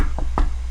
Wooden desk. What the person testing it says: That sounds like a solid wood.